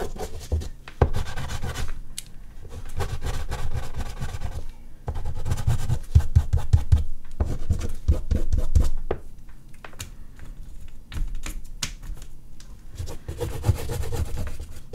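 An oil pastel stick is dabbed and stroked in short strokes across a large flat sheet of artist's paper resting on a board, with a hand on the drawing. The result is irregular bursts of dry, scratchy rubbing with a dull low thud, broken by brief quieter pauses between strokes.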